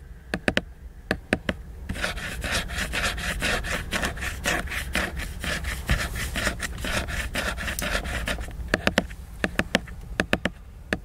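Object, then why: Laminated hardcover book cover. A fingernail scratches and rubs the glossy laminated cover of a hardcover book lying flat and solid. A handful of sharp, bright ticks open the clip, then a steady stretch of dry, rhythmic scratching fills the middle. It ends with more crisp, isolated ticks.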